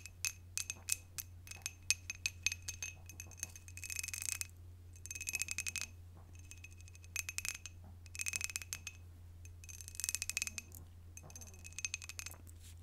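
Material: Glass.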